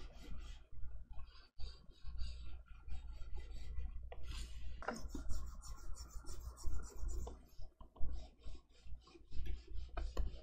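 A plastic stylus rubs and scratches across the matte screen of a large XP-Pen pen display while coloring, making uneven, bright scratchy strokes in bursts. A steady low hum of background noise runs underneath throughout.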